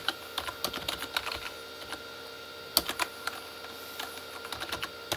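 Both hands type with their fingertips on a full-size Corsair K35 plastic mechanical keyboard with red-backlit keys. Its bright, short, dry clicks and clacks come in uneven bursts with brief pauses, and one sharper keystroke stands out near the middle. Under it all runs a faint, steady background hum.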